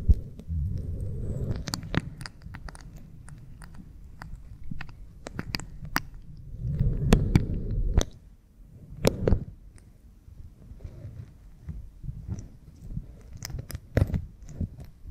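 Both hands rub the backs of an oiled pink silicone ear-model microphone with fingertips and nails. Deep, muffled rubbing swells in and out, broken by sharp, bright nail scratches and ticks, with quieter stretches between heavier passes.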